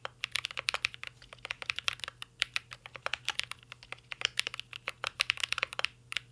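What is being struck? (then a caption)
Mechanical keyboard, metal case, plastic keycaps. Fingertips of both hands type continuously on a mint green Cyberboard R3 mechanical keyboard with a metal case and plastic keycaps. The result is a fast, steady stream of short, bright clacks centered near 2.8 kHz, each dying away almost instantly, with hardly any low end and a faint hum underneath.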